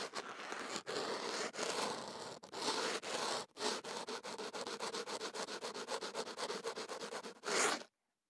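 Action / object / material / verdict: scrape / kenaf paper wrapped around a microphone / paper / none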